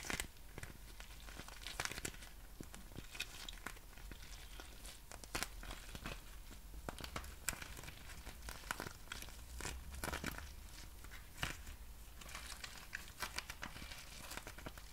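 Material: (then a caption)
Plastic. A small, thin, hollow and flexible clear plastic packaging pouch printed with a pattern is held in both hands and crinkled and squeezed with fingertips and long nails. The result is dense, continuous crinkling and crackling, with many sharp, bright snaps that flare up irregularly throughout. A steady low hum sits underneath.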